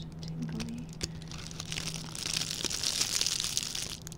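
A small, red, shiny metallic plastic ribbon gift bow is held in both hands while its loops are crushed and crinkled with the fingertips. Bright, dense crackling and crinkling builds, growing busier and louder in the second half. A faint low steady hum runs underneath through the first half.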